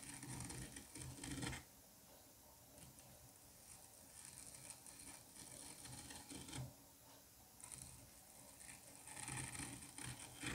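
A metal curette scrapes strips off the surface of a solid dome of green kinetic sand carved with grooves. Long, gritty scraping passes with a bright, hissy texture and a low rumbling undertone alternate with quieter pauses.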